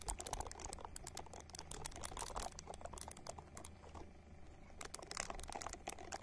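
Long nails scratch and tap a small, hand-sized purple silicone ball held close to the microphone, making a dense run of quick, bright clicks and scrapes over a low, steady hum. The scratching eases off around the four-second mark, then picks back up sharply for the final stretch.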